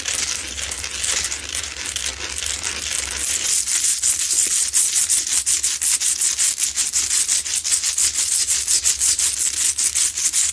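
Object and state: Himalayan salt lamp scratched with nails.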